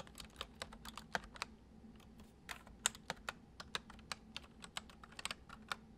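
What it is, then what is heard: Plastic computer keyboard. Fingertips of both hands type quickly on a full-size white plastic computer keyboard with hollow keys resting on a wooden desk. About 20 short, bright, clicky key taps come in quick, uneven bursts, each dying away almost instantly over a faint low background hum.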